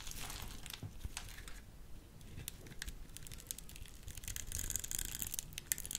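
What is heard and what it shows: A solid white soap bar has its scored edge crumbled into small cubes with a small metal blade and fingers. The carving and crumbling make quiet, continuous dry crackles, crunches and tearing sounds over a soft low rumble. Brief bright snaps cluster more densely toward the end.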